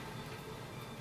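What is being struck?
Nothing is struck.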